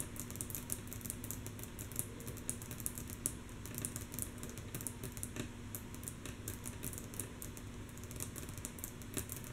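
Long natural fingernails tap rhythmically on a wooden table, mostly softly. Quick, dry clicks with bright nail ticks over a low woody knock follow one another in a steady, continuous stream. Each tap dies away almost at once.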